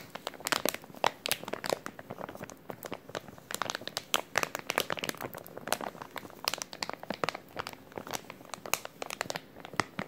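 A small clear plastic zip-lock bag with a green tab is held flat in both hands while fingertips crinkle and flex it. The result is a steady stream of sharp, bright crinkles and crackles with almost no low end, each snap dying away instantly over about ten seconds.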